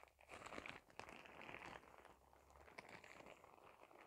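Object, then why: Thin plastic shower cap. A thin, clear, printed plastic shower cap is crumpled into a bunch and crinkled with fingers. It makes a quiet, continuous crackling rustle with sharp crisp snaps and bright hiss. The sound swells and fades with no ring after each crackle.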